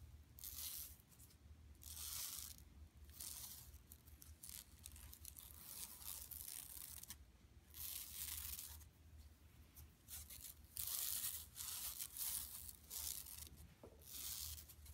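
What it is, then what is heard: Woven plastic mesh shopping bag. Long acrylic nails scratch and rub across an empty, large, flat, yellow striped woven plastic mesh tote bag with a printed bison, lying on carpet. Bright, rasping scratches come in repeated bursts over a steady low hum.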